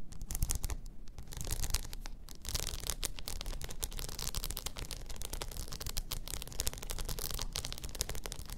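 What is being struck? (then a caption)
Rhinestone-covered tumbler. Long nails scratch over a blue rhinestone-covered tumbler lying on its side, making a steady stream of rapid, bright, crackly scrapes and clicks over a low rumble. The scratching stays dense and fairly even throughout, with brief louder bursts.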